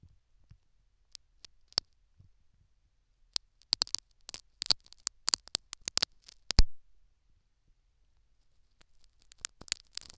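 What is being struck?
Metal needle on foam-plugged silicone ear.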